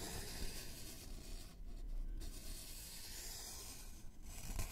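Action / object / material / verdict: scrape / thin flat wooden board / wood / none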